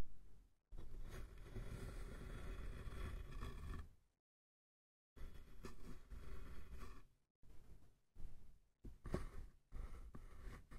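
Fingertips and nails tap and scratch close up on the sides of a small, hollow, light-wood box with a pink scale pattern and a metal latch. Dense, low, rumbly scratching comes in bursts separated by silent gaps, with a dull hollow knock and almost no ring.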